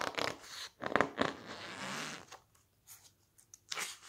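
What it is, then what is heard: Glossy paper pages being squeezed and turned. Fingertips press, squeeze and turn the thick, blue glossy pages of an open softcover book. Short crinkly rustles and crackles lead into a longer smooth papery swish, then quiet pauses with faint ticks before one last brushing rustle.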